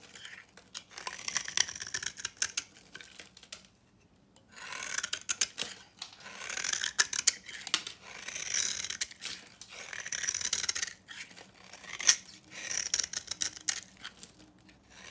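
A dry, solid, translucent orange bar of soap with copper paint is held in the hand and shaved with a utility knife into crumbly flakes. Bright, dry scraping and rasping strokes come in repeated bursts, with a short quiet gap near the four-second mark and sharp crackles along the way.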